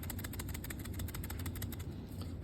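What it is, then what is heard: Dead blow hammer with sand fill. A nylon-shelled dead blow hammer filled with sand is shaken, and the loose sand inside rattles in a quick run of soft, gritty pulses. The rattling plays over a steady low hum, and the sand fill shows this is a dead blow hammer.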